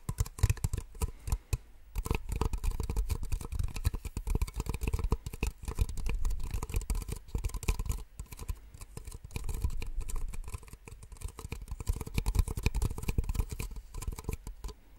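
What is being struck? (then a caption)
Small plastic cups. Two identical small, empty white plastic cups, held one in each hand, are tapped and scratched with long nails. The result is a rapid, dense stream of dry, short clicks and scratchy rustling, heavy in the low end. It comes in bursts separated by brief pauses.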